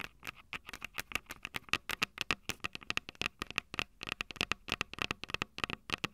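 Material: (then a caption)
Metal. Long purple nails tap and scratch the silver metal mic capsules on the small plastic body of a Tascam DR-05 handheld recorder, using both hands. About 39 rapid, irregular, sharp clicks and taps are heard, bright and high with a faint ring near 2.6 kHz, each dying away almost instantly.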